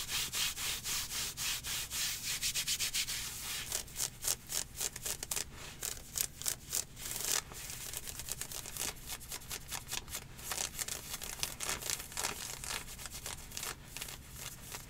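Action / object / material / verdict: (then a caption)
scrape / synthetic stretch-fabric leggings / synthetic fabric / none. Long nails scratch rapidly along the ribbed thigh fabric of dark green athletic leggings made of synthetic stretch fabric with mesh panels, worn on the legs. The result is a quick, uneven run of bright, dry rasping strokes with a hissy, high-heavy texture and almost no low end.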